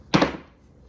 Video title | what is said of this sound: Step by step sandwich bread tutorial | if you're ever not sure if your bread is fully baked tap it on the bottom and it should sound hollow